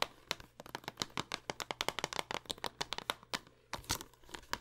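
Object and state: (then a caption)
Plastic game case. Long acrylic nails rapidly tap and scratch the front and edges of a hollow green plastic Xbox One game case for Five Nights at Freddy's, held in the hands over purple satin and then lying on it at the end. A quick run of sharp, bright, clicky taps with crinkly, crackling scratches comes through, possibly from the case's plastic sleeve. Each tap dies out almost instantly, and the taps pause briefly before a final few.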